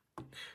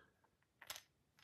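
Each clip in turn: First: battery fits tightly in flashlight tube. Second: battery loose in flashlight tube.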